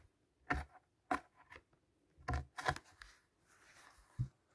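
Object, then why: Thick glossy paper pages of a hardcover book. A hand turns page after page of a large illustrated hardcover fairy-tale book with thick glossy paper pages. Each turn makes a short, dry papery flap and rustle with a soft low thump, separated by quiet pauses. A faint continuous papery rustle sits between the later turns.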